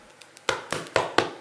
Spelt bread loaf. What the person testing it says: es klingt doch schon wieder so richtig hohl